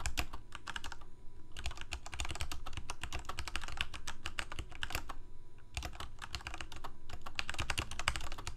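Fingertips of both hands type rapidly on a full-size Corsair K68 backlit plastic mechanical keyboard with Cherry MX Red switches. Dense, quick key taps have a deep, low thock and a bright clatter on top, each tap dying away almost instantly. The typing runs almost steadily, with brief pauses around 1 and 5.5 seconds.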